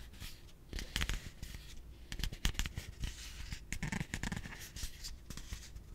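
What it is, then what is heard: Plastic piggy bank. A yellow hollow plastic piggy bank with a heart decal is held in both hands while fingertips rub and tap its surface. Soft scratchy rubbing runs throughout, broken by short, dry hollow taps with a low body and bright clicky edges that die away almost at once.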